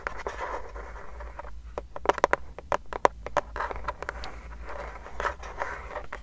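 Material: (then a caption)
Plastic. Long nails scratch and tap the flat lavender plastic underside of a wireless keyboard with a yellow sticker, its hollow case. Broad scratching passages around 1 kHz alternate with a run of sharp, dry taps in the middle, which then give way to more scratching.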